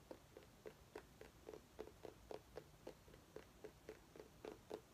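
A small orange mini pumpkin, held by its base, is tapped and scratched with long nails, giving about fifteen quick, soft, hollow taps at an uneven pace. Each tap has a muted tone around 430 Hz with a brief bright edge and dies away almost at once, over faint scratching noise.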